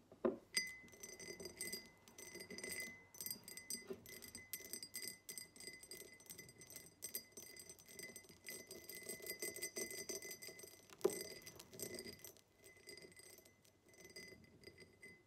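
A tall, empty, hollow diamond-pattern cut glass tumbler stands upright on a table and is tapped on its sides with long acrylic nails. The quick, dense run of light, bright clicking taps has a rattly texture over a faint steady glassy ring near 2 kHz, and each tap dies away almost instantly at a quiet level.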